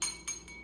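An empty drinking glass with no water in it is tapped carefully with a spoon three times. Each tap gives a bright, high-pitched clink that rings briefly, and the ring is high because the glass is empty.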